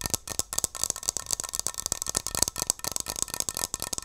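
A metal Barbasol aerosol shaving cream can is tapped and scratched with long nails close to the mic. It makes a rapid, continuous run of dry, bright clicks and scrapes that rattle with almost no ring and very little low end.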